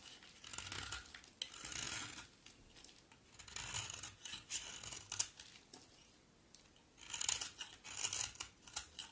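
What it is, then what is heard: Bar soap shaved with a blade. A solid coral-orange bar of soap is shaved with a box cutter blade in scraping strokes, sending crumbs flying off. Each stroke makes a dry, bright, crisp rasping scrape with almost no low end, separated by short quiet gaps.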